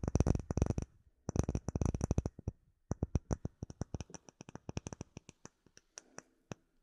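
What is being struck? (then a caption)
Clear acrylic plate. Fingertips and nails tap and scratch a flat, solid, clear acrylic plate with embedded bubbles, held close to the microphone. Two bursts of rapid, dense tapping give way to slower, evenly spaced single taps. Each tap is dry and short with a full low thump and a faint bright tick on top.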